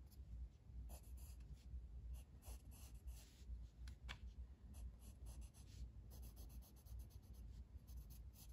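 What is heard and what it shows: A blue wooden colored pencil held in the fingers shades a flat paper page of a coloring book on a table. Quiet, steady scratchy strokes keep coming in uneven rhythm, with brief bright rasps over a soft, low rumbling background.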